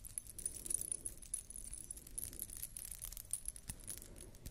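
A beaded wire ring collar necklace with metal disc dangles is held in both hands and rotated while long nails scratch across the beads. The dangles give off a continuous, quiet, high and bright tinkling jingle, with soft scratchy clicks over a faint low rumble.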